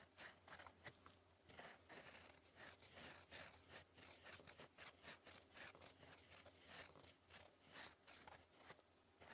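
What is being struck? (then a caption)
Paper sheet under a metal pen nib. A gold metal fountain pen nib, held in fingers, scratches across a flat sheet of cream lined paper on a desk while writing cursive. Quiet, bright, dry scratching comes in a steady series of short strokes, with a faint low hum underneath.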